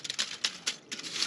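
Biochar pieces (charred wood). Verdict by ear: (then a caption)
Fully charred. A piece of homemade biochar (charred wood) from a retort kiln is broken and handled, giving sharp, bright, glassy clinks and crackles with almost no low end and very short ring. It is black all the way through with no brown inside, so it is fully charred without ash.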